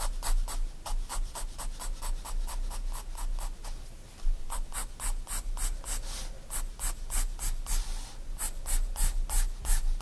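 A 4B pencil makes quick hatching strokes across a white paper sketchbook page lying flat, scratching the paper. The result is a fast, steady run of short, dry, bright scratches, each stroke separate, with a brief pause partway through before the strokes resume.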